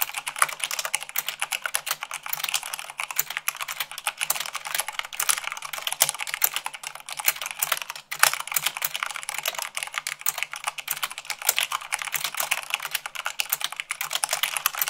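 Long pink nails and fingertips type fast, at about 98 words per minute, on a full-size mechanical keyboard with white plastic keycaps on a black frame. A dense, steady stream of sharp, bright clicks and clacks with almost no low end, each keystroke short and dry. A brief pause comes just past the middle before the typing resumes.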